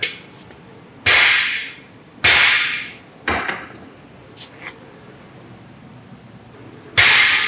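A hammer strikes the cylinder of a rebuilt 327 small block Chevy cast iron engine block several times, with two faint taps between the louder blows. Each hit gives a bright, high metallic ring around 2.2 kHz that fades within about half a second. The block rings clearly and is judged solid.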